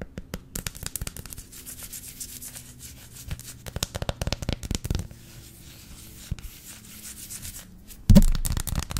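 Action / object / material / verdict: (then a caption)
scrape / flat dark chocolate bar / chocolate / none. Long lilac nails rub and scratch across a flat, solid dark chocolate bar held horizontally. Quick, dry scratching ticks and soft rubbing come in bursts. A louder, denser stretch of rubbing arrives near the end.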